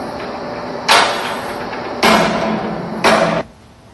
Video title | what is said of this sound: WIPP Townhall Mtg After Rock Falls Inside Nuclear Waste Depository 10/13/16 | you notice there at the end as he moves over you hear that more hollow sound